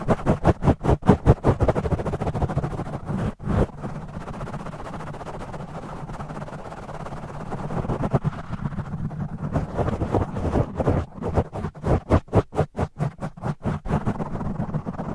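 Fingertips of both hands rapidly scratch and tap a black foam microphone windscreen, with the audio sped up to double speed. Dense, muffled, low-heavy rustling and thumping fills the clip, with bursts of quick, sharp taps at the start and end and a steadier scratching wash in the middle.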